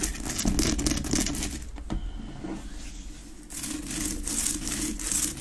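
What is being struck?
Rock-salt lamp.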